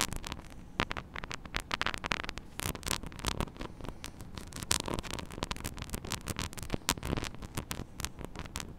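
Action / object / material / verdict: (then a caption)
scrape / small metal mesh microphone grille / metal mesh / none. Long acrylic nails scratch and tap rapidly on the hollow metal mesh grille of a small microphone head on a clip stand. The result is a dense run of sharp, bright clicks and scratchy rustles over a low steady hum.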